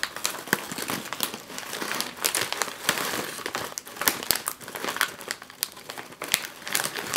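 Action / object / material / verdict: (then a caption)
shake / foil-lined plastic chip bag / plastic foil / none. A full, sealed, foil-lined plastic chip bag is lifted off a table and turned in the hands, which crinkle and shake it. A dense, continuous run of bright, crackly crinkling fills the clip, with sharp snaps scattered throughout and almost no low end.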